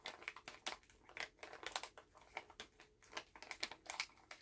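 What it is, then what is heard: Plastic candy bag being crinkled. Fingers squeeze and crinkle a full Halls plastic cough drop bag held in both hands. A quiet, rapid series of sharp, bright crinkles and crackles follows, with almost no low end and each burst dying away almost at once.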